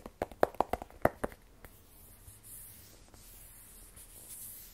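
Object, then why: Rigid cardboard phone box. Fingertips and fingernails tap a small black rigid cardboard iPhone 12 Pro box, hollow with the phone inside. About ten quick, dry, hollow knocks come in the first 1.3 seconds, with a mid-pitched body and almost no ring. The rest is near-silence with a faint high hiss.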